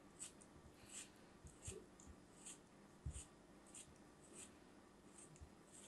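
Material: Kinetic sand.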